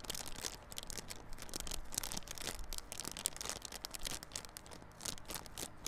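Fingernails scratch the clear plastic wrap on a small yellow cardboard Realme Buds Classic earphone box held on its side. The result is a steady stream of quiet, dry crinkling and scratchy rustles, bright and crisp with a soft low rumble beneath.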